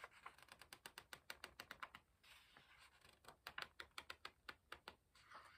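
Fingertips hold a paper page of an open hardcover book upright and flick and rub its edge. It makes a quick run of crisp, bright ticks, then a soft papery rustle for about a second, then more quick flicks and a final brushing rustle. The sound is dry and short, with almost no low end.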